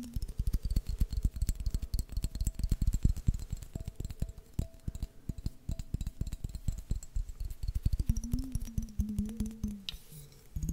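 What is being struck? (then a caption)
Glass jar with metal lid. A clear glass mason jar with a metal lid, partly filled with water, is tapped rapidly with fingertips close to the microphone and at one point turned upside down. Dense, irregular taps land as deep, dull thuds with a faint ringing tone above them. Near the end, a low wavering tone rises and falls under the tapping.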